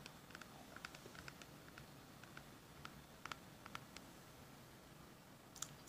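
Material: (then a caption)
Plastic. Fingertips and short manicured nails tap and scratch the sides and white plastic cap of a small hollow orange plastic toy medicine bottle from a vintage 1980s Fisher-Price set, held in both hands. The result is a quiet, irregular series of sharp, bright plastic clicks with very short decay over a soft scratchy hiss.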